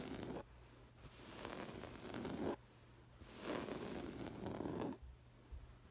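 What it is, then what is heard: Woven fabric cushion scratched. Long acrylic nails scratch and rub over a soft stuffed cushion covered in textured woven floral fabric, first with one hand and then with both. The result is soft, scratchy rustling in slow, uneven swells that build and drop away into brief quiet gaps.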